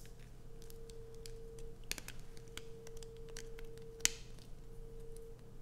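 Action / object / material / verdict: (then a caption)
scrape / bar of soap / soap / none. Long nails scratch grooves into a solid light-blue bar of soap held in the hand, with shavings falling onto black fabric. Quiet, dry scratching and crisp ticks run throughout, with two sharper, brighter clicks standing out near 2 and 4 seconds. A faint steady low hum sits underneath.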